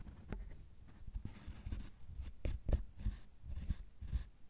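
Two metal carving tools with wooden handles scratch and scrape across a solid milk chocolate bar, raising shavings. The sound is a soft, dull, low-pitched scraping with brief rougher bursts and occasional faint bright scratchy edges, with no ringing between strokes.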